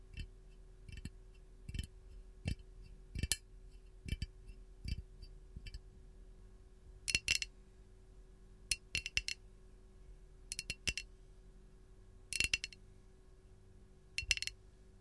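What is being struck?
Glazed ceramic canister.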